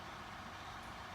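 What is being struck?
Nothing is struck.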